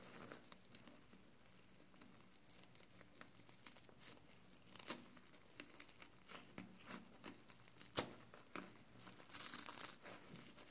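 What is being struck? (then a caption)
Foam kitchen sponge with scouring pad. Fingers fold and tightly squeeze a wet, soapy yellow and green foam kitchen sponge with a scouring pad. The result is a steady, quiet stream of crinkling, crackling squelches, with sharper crunchy pops around the middle. A brighter, hissing squish builds near the end.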